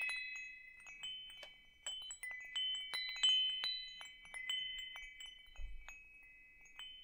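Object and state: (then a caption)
Metal tube wind chime. A hanging wind chime with hollow metal tubes is held up, swayed and tapped with fingers. Irregular, quiet strikes overlap into bright, shimmering metallic tones that ring and sustain between hits. A brief low thump sounds near the end.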